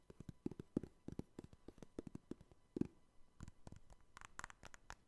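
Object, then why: Hard plastic trading card cases. Fingertips tap and scratch the top edges and faces of joined, hollow, clear hard plastic trading card cases with cards inside, held close to the microphone. About 26 quick, dry, low-pitched taps with almost no ring are heard, mixed with faint scratching, and a few brighter, higher clicks come near the end.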